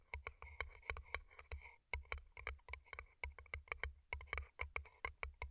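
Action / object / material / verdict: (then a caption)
tap / paper cup covered in plastic rhinestones / plastic, paper / none. Long nails rapidly tap the colorful plastic rhinestone-covered sides and cardboard bases of two small, hollow, empty paper cups turned upside down over earbud mics. Each tap is a sharp, dry click with a bright, glassy tick and a soft hollow thump underneath, dying away almost instantly. The taps come in quick, irregular clusters at a quiet level throughout.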